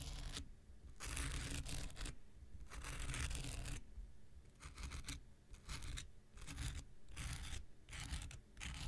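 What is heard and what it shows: A handheld pink rectangular nail buffer block of solid foam with an abrasive surface is scratched with an X-Acto knife blade. Bursts of dry, bright, rasping scratches alternate with brief quieter pauses over a steady low rumble.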